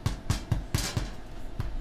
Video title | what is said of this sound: Organic Bread | it sounds pretty hollow to me. So basically you're looking for a hollow sound